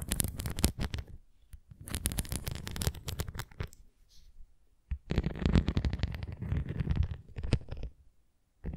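Long nails scratch across the raised bumps of a red plastic flying disc toy and tap its rim, making dense, low, rumbling scratches in bursts broken by short pauses. Quick bright taps stand out among the scraping.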